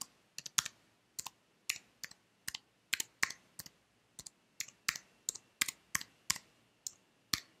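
A white slim plastic computer keyboard, held at an angle, is tapped and typed on with fingertips and nails. Its sharp, bright plastic clicks come in an uneven rhythm, some in quick doubles, and each dies almost instantly in a quiet space with little low end.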